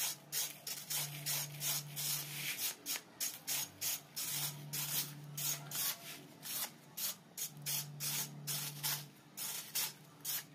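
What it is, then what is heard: Sand-cement cylinder scraped. A metal knife blade scrapes down a solid, crumbly grey sand-cement cylinder about the size of a hand, the rightmost of four standing on a dusty surface, while powder and grit pour down. About two dozen quick, bright, gritty scraping strokes come in an uneven rhythm, each with a short hiss of falling grit. A faint low hum rises and fades in the background.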